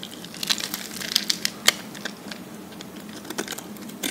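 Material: Soap.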